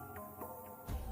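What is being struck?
Nothing is struck.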